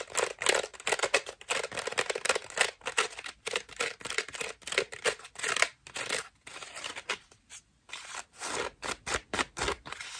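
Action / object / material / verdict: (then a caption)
scrape / foam bath loofah / foam / none. Long nails scratch a cream foam bath loofah with a rope loop, making rapid, dry bursts of bright, rasping noise with almost no low end. The strokes come in quick clusters separated by brief silent gaps, each one cutting off almost instantly.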